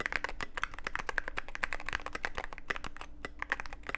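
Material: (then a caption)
Plastic. Fingertips of both hands type continuously on a Cyberboard mechanical keyboard with plastic keycaps and a dark case. A rapid, uneven stream of short, dry clacks with bright tops rings out over a faint low steady hum, each keystroke dying away almost instantly.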